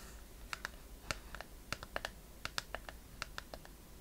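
Long painted fingernails tap and scratch a small, hollow, hand-held wooden chest-shaped box with a metal clasp and corner fittings, held in both hands. About sixteen sharp, dry clicks land at an irregular pace, each dying away almost at once, with a bright edge over a steady low hiss.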